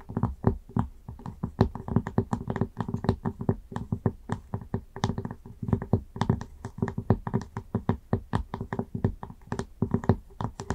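Long acrylic nails tap quickly on the surface of a round wooden lid on a candle jar. The result is a fast, continuous run of short, dull, woody clicks with very little ring, heaviest in the low end, with an occasional brighter tick of the nail tip.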